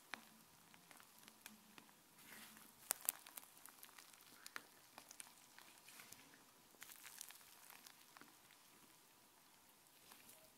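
A hand lifts and stretches a thin sheet of white fluffy slime, then presses it back onto the counter with the fingers. The sound is a quiet, sticky crackling made of many small, sharp, bright pops and snaps, with brief louder bursts of crackle as the slime is pulled and pressed.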